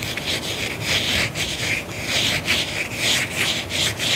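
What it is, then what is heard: Faux leather sandal being scratched. Fingernails scratch along the straps and heel of a single tan faux leather block-heel sandal held up in one hand. The result is a steady run of dry, bright rubbing strokes that swell and fade in a repeating rhythm, with a hiss centered around 2.3 kHz and little low end.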